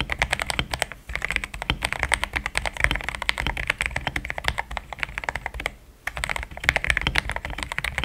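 Fingertips type steadily on a compact mechanical keyboard with thick plastic keycaps and a pink plastic case. The result is a dense run of short, crisp key clacks with a bright top end and soft low thuds, broken by a brief pause around the one-second mark and a longer lull near six seconds before typing resumes.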